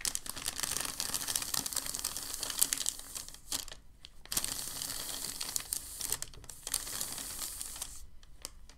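Hands lift a crinkled sheet of white packing paper, then press and smooth it flat on a table. Dense, bright crinkling and rustling fill two long stretches, each followed by a brief near-silent pause.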